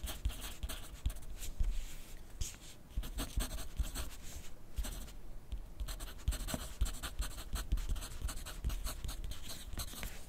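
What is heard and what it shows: A graphite pencil tip scratches across a thin lined paper pad lying flat on a desk in continuous writing. Quick, dry scratchy strokes follow one another with a soft papery texture and a dull low thud under each stroke, dipping briefly quieter near the middle before resuming. The strokes stop dead with no ring.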